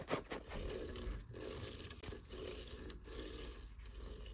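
Fingers and nails scratch up and down a cat tree post tightly wrapped in coarse sisal rope. The result is a steady, low, rough scraping with brief dips where the strokes change direction.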